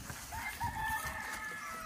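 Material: Nothing is struck.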